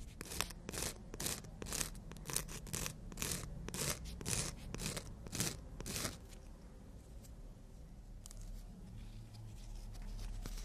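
Nail tips are filed across a long emery board nail file, giving a run of quick, bright scratchy rasps at a fairly steady pace for about six seconds. The strokes then fade to fainter, sparse scrapes over a low background hum.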